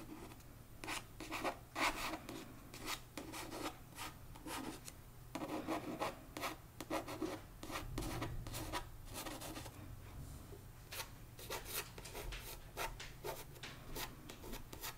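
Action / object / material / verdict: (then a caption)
scrape / paperback book with glossy card cover / card / none. Fingertips and nails rub and scratch across the glossy card front cover of a paperback novel, One Dark Window, lying flat on a rug. Soft, dry scraping comes in quick, uneven strokes with brief bright scratchy bursts over a low, steady hum.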